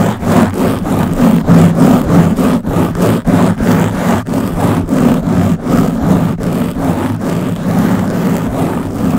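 Long blue-painted nails on both hands scratch a round black foam windscreen covering the head of a Blue Yeti microphone. Fast, rhythmic scratching strokes, about three per second, make a dense, steady, fairly loud rustle that sits mostly in the low-mid range with little high end.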